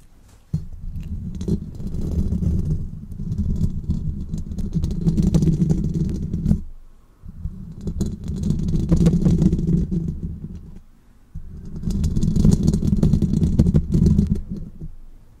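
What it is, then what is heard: Metal mesh microphone grille. Fingernails of both hands rapidly tap and scratch the hollow metal wire-mesh grille of a large silver condenser microphone. The result is a dense, close, boomy drumming, mostly low thuds with a faint crisp scratchy edge. It comes in three long bursts separated by brief pauses.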